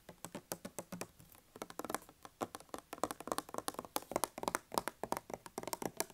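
Fingers tap and scratch on a hand soap dispenser, making a quick, irregular run of quiet, dry clicks and ticks. Each tap is short with almost no ring, and the sound sits in the mids with little low end.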